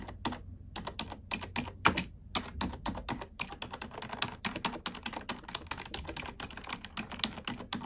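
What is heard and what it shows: A black plastic computer keyboard is typed on with long nails and fingertips. It makes a steady stream of rapid, crisp clicks and taps with bright, sharp attacks and short decays, some keystrokes louder than others.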